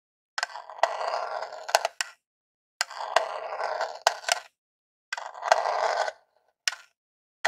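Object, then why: Plastic game console casing. A long jeweled acrylic nail scratches and taps the top of a small grey hollow plastic Super Nintendo Classic console near the logo. Three dry, raspy scratching bursts centered in the mid range are punctuated by sharp, bright clicking taps, ending with two isolated taps. The plastic gives a hollow, short-lived sound with no low end or ringing.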